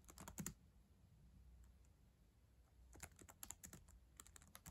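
Long acrylic nails and fingertips type on the plastic keys of a solid black ThinkPad laptop keyboard. Quick, dry, bright clicks with a low thud come in a short burst, then a quiet pause of about two and a half seconds, then a second, longer run of taps. Each tap dies away almost at once.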